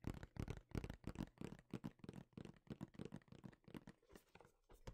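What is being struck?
Cardboard box.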